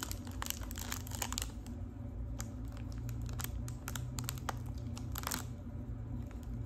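Long pink acrylic nails tap and crinkle the foil surface of a small, boxy, hollow gold foil-wrapped Lipton tea package held in both hands. Rapid, crisp clicks and papery crinkles come in quick bursts over a steady low hum.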